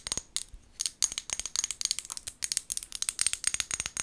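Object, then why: Small glass bottle with plastic lid. Long gold nails tap and scratch the sides of a small amber glass bottle with a white plastic lid, held in both hands. Around twenty quick, dry clicks and brief scrapes come in an uneven stream. They are bright and thin, with almost no low end and no ring after each hit.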